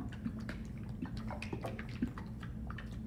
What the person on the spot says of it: shake it until you hear that liquid shaking around inside